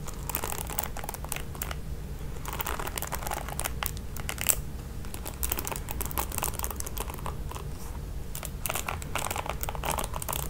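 Long nails scratch and flick the ball-tipped nylon bristles of a red plastic paddle hairbrush. The result is a steady stream of soft, crinkly scratching and bright ticking over a constant low rumble, with a few sharper flicks standing out.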